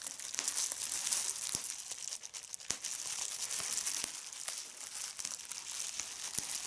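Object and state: Plastic bubble wrap.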